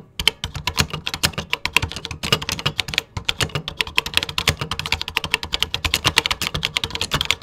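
Fingertips type continuously on a vintage 1980s beige plastic computer keyboard, producing about 55 sharp, bright key clicks. Each click ends almost instantly, with a low thump under some strokes. The rapid, uneven rhythm stops briefly around the three-second mark, then resumes.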